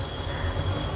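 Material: Nothing is struck.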